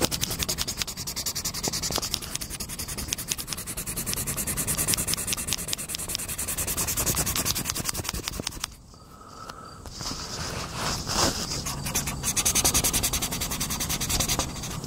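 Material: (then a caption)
Paper. A hand colors a tractor picture in an open paper coloring book on a wooden table with a green oil pastel or crayon, using steady rubbing and scratching strokes. The strokes make a dense, bright, rapid scratching texture throughout. It briefly goes quieter just before the midpoint before the rubbing picks up again.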